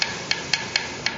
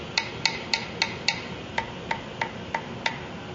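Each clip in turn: First: tightly seated guitar fret. Second: loose guitar fret end.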